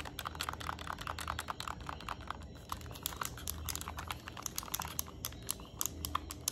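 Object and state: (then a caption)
Plastic handheld game console. Long nails rapidly tap and scratch along the plastic edge of a yellow Nintendo Switch Lite, over its vents and headphone port. The result is a dense run of sharp, dry clicks with brief scraping, set against a steady low hum.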